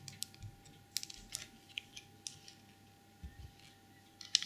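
Long purple nails tap the lid of a small, empty porcelain elephant trinket box, which sits with its lid off and a green felt-lined inside. They then scratch inside the hollow box and along its rim. About a dozen quiet, bright, high clicks and taps stop almost instantly, with soft scratching between them.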